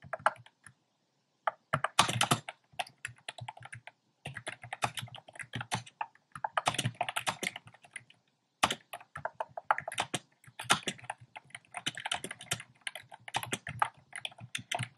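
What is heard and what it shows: Fingertips type on a compact plastic mechanical keyboard with a black plastic case and round pastel plastic keycaps. The result is quick bursts of crisp, clacky keystrokes with bright highs and little low end. Short pauses separate the runs of typing.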